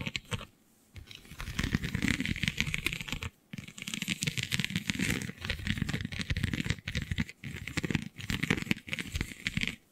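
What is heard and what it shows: Long nails scratch across a flexible, iridescent holographic scale vinyl sheet, a plastic/vinyl sheet with raised scale-like bumps. The result is a dense, crinkly scratching full of rapid dry clicks and rattles, coming in steady bursts separated by brief pauses.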